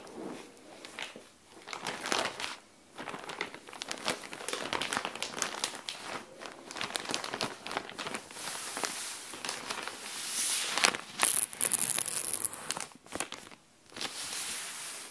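A flat SHEIN plastic bag with folded clothing inside lies on the floor while long nails scratch across the plastic, then the bag is lifted at one edge. Dense, bright crinkling and crackling runs throughout with almost no low end, swelling louder and crisper as the bag is lifted near the end.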